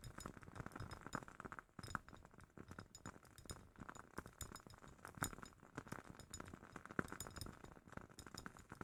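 A glass candle jar holding a woodwick candle is tapped repeatedly, giving a quick, steady run of soft glassy clinks and ticks. Each tap is short and dry, with a brighter peak standing out now and then.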